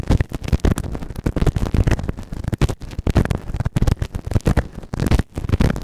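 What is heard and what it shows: A white plastic spatula tool held in the fingers scrapes and scratches inside the ear canal of a grey moulded silicone ear-shaped binaural microphone, solid, on a round base. The result is a rapid run of close, dull, bass-heavy scratching bursts with short gaps and almost no high end.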